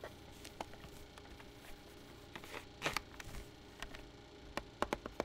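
Fingertips tap the back casing of a black plastic pocket calculator turned over on a pad. The result is short, dry, irregular taps and light clicks over a quiet hiss, with some small clusters of quicker taps toward the end.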